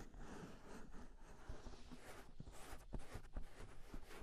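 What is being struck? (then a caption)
Silicone ears of a binaural microphone. Fingertips tap and rub both hollow, soft silicone ears of a 3Dio binaural microphone. The result is a quiet, muffled mix of low rumbling rubs and soft dull thumps, with almost no bright content.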